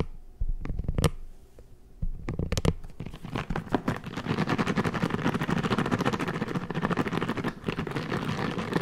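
A hand-sized red silicone scalp massager brush with many soft bristles is scratched and flicked with fingertips. A few sharp flicks and short scratchy bursts open the clip, then a dense, fast run of soft crackling, rustling scratches follows, mostly low with some brighter crisp detail.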